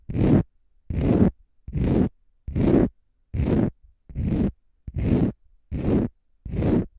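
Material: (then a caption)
Konjac sponge. A small, light green, porous, dry konjac sponge puff held in both hands is scratched with short fingernails and fingertips. Nine separate, evenly paced scratching strokes produce a dense, low, rough raspy sound, each about half a second long with brief silences between.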